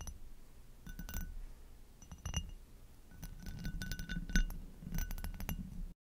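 Long nails tap the bowl and base rim of an upside-down, hollow, empty amber hobnail glass goblet, producing a series of quick, bright glass clinks. The clinks ring briefly over a low background rumble.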